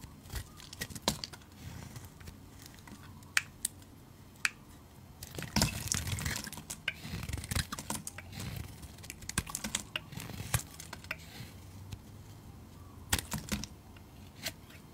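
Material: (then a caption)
Soap. A utility knife blade scrapes and shaves a solid, rounded light-blue bar of soap held in the hand, cutting it into curls. Sharp, bright scraping clicks are scattered through the clip, with denser crisp shaving bursts in the middle, over a quiet low background.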